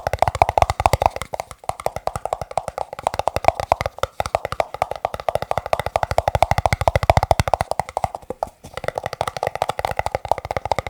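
Fingertips tap rapidly on plastic cups, making a steady stream of crisp, hollow clicks with a tone around 670 Hz. Each tap dies away almost instantly, and the rhythm runs continuously with only brief breaks.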